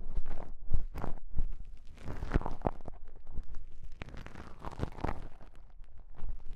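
Small folded pieces of beige self-adhesive elastic bandage wrap are pinched and rubbed together between fingertips, one piece in each hand. This produces soft, muffled crinkling and crunching with low thumps and brief scratchy bursts. The texture is dense and uneven, and the loudest bursts come early on.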